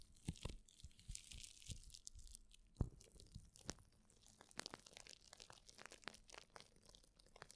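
A sheet of plastic bubble wrap is held near the mic while fingertips and nails scratch, crinkle and squeeze it. Quiet, close crackling and rustling is broken by many sharp, bright clicks and a few louder snaps. The clicks stay dense and uneven throughout, with a deep low rumble underneath.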